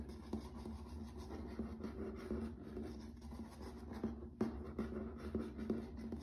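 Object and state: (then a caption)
Laminate floor. Fingertips and nails tap and scratch across a grey wood-grain plank laminate floor. Soft, dry taps land at an uneven pace over a continuous low scratching rustle, and each tap dies away almost at once. The sound stays quiet and low throughout, with little brightness.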